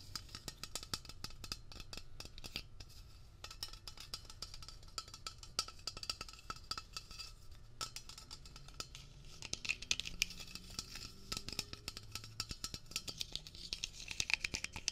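A medium-size Blue Coral aerosol cleaner can, with a metal body and blue plastic cap, is held in hand and tapped quickly with fingertips and nails on the body and cap. The result is a quiet, continuous stream of dry, clicky taps with a bright metallic tone around 2.5 kHz and almost no ring. The taps grow a little louder and sharper toward the end.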